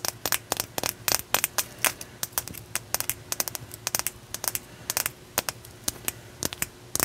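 A solid, hand-length opalite point, man-made glass with a faceted tip, is held in both hands and tapped and scratched with long nails. The result is a rapid, uneven series of sharp, bright clicks that die away almost instantly, with faint scratching between them.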